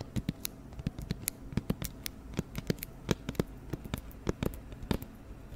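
An empty, hollow, round white cardboard flower box is held up beside the microphone and tapped quickly with long nails. The result is a rapid, irregular stream of short, crisp nail clicks, each with a bright high tick over a dull, hollow low thump. The taps die away almost instantly against a faint steady background.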